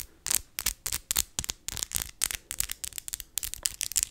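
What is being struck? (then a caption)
Acrylic fake nails. Long white and glitter acrylic fake nails are tapped nail-on-nail and lightly scratched together using both hands. The result is a quick, uneven series of crisp, bright clicks and scratchy rasps with almost no low end, each one dying away instantly.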